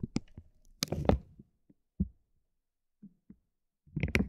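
A metal ball-tipped stick taps a soft, clear vinyl plastic bag stretched over a roll of tape. It makes short, clicky taps with a soft, low body and faint bright edges, separated by quiet gaps. Longer crinkly bursts come near the start and again at the end.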